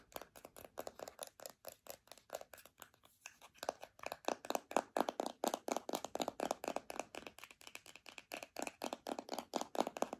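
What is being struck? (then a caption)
Plastic deodorant stick. A filled white plastic deodorant stick is tapped and scratched with long nails, making a quick, uneven run of short, dry clicks and scrapes. The sound is mostly midrange with some bright scratchy edges and no low end. It dips into a brief pause near three seconds, then picks up louder and denser.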